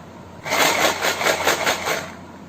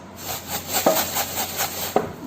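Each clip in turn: First: tin jar holding dried kidney beans. Second: tin jar containing rice.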